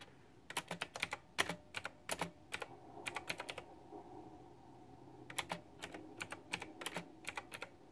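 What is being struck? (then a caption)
Plastic mechanical keyboard with round keycaps. Fingertips and long nails type continuously on a plastic, retro-style, flower-themed white backlit mechanical keyboard with round typewriter-style plastic keycaps. Quick bursts of sharp, bright, clacky keystrokes come in runs, with a short pause in the middle, over a faint steady background hum.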